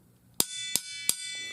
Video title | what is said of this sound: Water heater expansion tank: how to inspect it? How it works and why it is important? | This part does not fill with water. It has air inside.